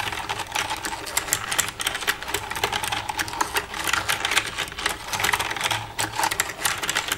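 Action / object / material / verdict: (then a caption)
tap / plastic computer keyboard / plastic / none. Long red-painted nails tap and type across the keys of a black plastic desktop computer keyboard with a hollow casing, using both hands. A dense, steady run of quick, bright clicks and clacks follows, each dying away almost at once, with little low end.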